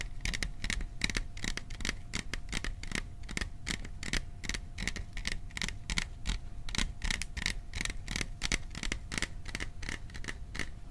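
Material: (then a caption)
Sheet metal. Fingertips tap rapidly on the sides of a hollow, cylindrical printed metal popcorn tin held in both hands close to the microphone. The fast, irregular stream of short, dry clicks dies away almost instantly, with a faint metallic ring near 2 kHz and a steady, low-level hum beneath.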